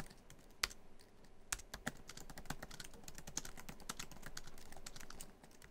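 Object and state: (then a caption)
Laptop keyboard, plastic keys in metal body. Fingertips of both hands type quickly across a MacBook Pro keyboard, tapping many black plastic keys set in the hollow silver aluminum laptop body. A steady patter of short, dry, bright clicks centered around 2 kHz is heard, with a few sharper, louder key strikes standing out early on. The typing softens slightly near the end.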